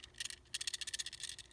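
A Chinese/Korean-packaged Tomica Toyota Century die-cast toy car is handled, giving off a quick series of light, thin, high-pitched clicks and rattles with almost no low end. The unusually lightweight model sounds cheap, suggesting it is built differently from the Japanese release.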